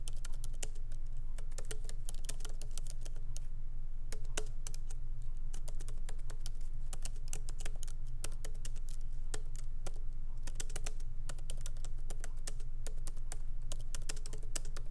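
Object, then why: Laptop keyboard with plastic keycaps. Fingertips of both hands lightly type on a MacBook Pro keyboard with black plastic keycaps set in an aluminum body, resting on a wooden desk. Quick, uneven clicks and taps, each short and bright, sound over a steady low hum.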